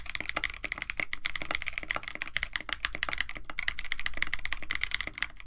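Continuous typing with both hands' fingertips on a compact 65% KBD67 Lite mechanical keyboard with a white case, blue and white PBT plastic keycaps, an FR4 plate and stock Techno Violets switches. The result is a fast, steady stream of short, dry key clacks with a bright tone centred around 2 kHz and a faint low thud under each press.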